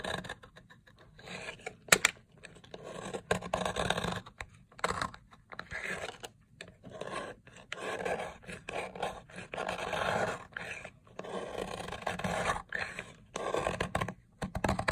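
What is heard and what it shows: A red box-cutter blade scrapes a long, solid, dry blue soap bar lying on a white surface, breaking off crumbly flakes. Repeated crunchy, gritty scraping strokes come in bursts separated by short pauses, with a sharp click near the two-second mark.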